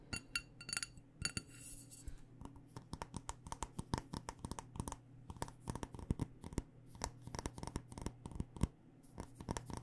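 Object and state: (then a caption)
Glass candle jar tapped with nails. Long nails tap quickly and repeatedly on the glass and bottom rim of a black glass candle jar with a paper label, filled with wax. The dozens of short, bright clicks ring only briefly, with a brief glassy chime near the start, over a steady low hum.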